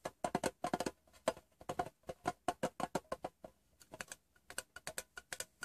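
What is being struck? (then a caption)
Small hollow metal tin. Fingertips and painted nails tap the lid and side of a rectangular, printed, hollow metal Wrigley's Doublemint gum tin, closed and lying on fabric. About 32 quick, light taps come in uneven bursts, each a short, hollow metallic tick with a mid-pitched ring near 650 Hz that dies away almost at once.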